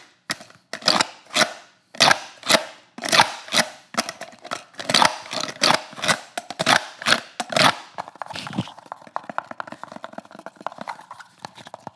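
A pistol seated in a handheld multicam-patterned rigid kydex holster is tapped and scratched with fingertips and nails up close. For about the first eight seconds a run of sharp, bright plastic taps and scrapes sounds, followed by a softer, quicker stretch of light ticking and scratching.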